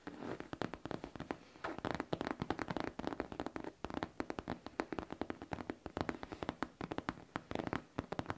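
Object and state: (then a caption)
Faux leather backpack. Long painted nails tap a rapid, steady stream of short, dry clicks across a hollow pink faux leather backpack held up close. Each tap dies away almost instantly, with a soft low-mid thump beneath the crisp attack.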